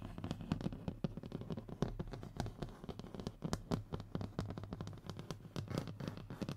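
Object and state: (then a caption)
Hardboard panel scratched. Short fingernails of both hands quickly scratch the textured surface of a thin, solid, flat brown hardboard (fiberboard) panel resting on a table. The sound is a dense, rapid run of dry scratches and small ticks, mostly low and muffled with a steady low hum underneath.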